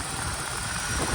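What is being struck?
Nothing is struck.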